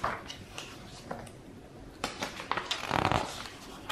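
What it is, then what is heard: Paper pages of a hardcover book being flipped. Fingertips of one hand lift and flip single thin, glossy pages of a large open hardcover Deathwatch RPG rulebook. Each page bends and rustles, then slaps down with a soft papery smack. The flips come faster and louder toward the end, with bright crackling rustle over a quiet background.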